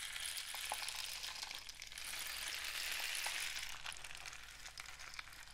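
A long, hollow, painted cardboard rain stick is held diagonally and tilted while fingertips tap and rub its surface. A steady, bright trickling hiss like falling rain fills the clip, with faint soft taps and clicks scattered through it. The sound swells slightly in the middle and fades gently toward the end.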